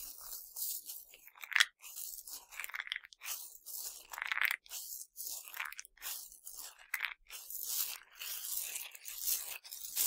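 Cupped hands with dark nails squeeze and grind handfuls of tiny hard Nerds sugar candies from a pile, then pour them back onto it. Repeated bright, gritty crunching bursts alternate with a sandy, rattling pour, with almost nothing in the low end.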